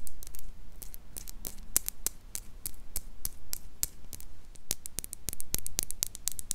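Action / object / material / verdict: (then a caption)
tap / small glass jar mug with metal lid / glass / none. Long pink nails tap and scratch a small, empty, clear glass mason jar mug with a handle and a metal lid. The result is many sharp, bright, irregular clicks over a low hum and a faint static hiss.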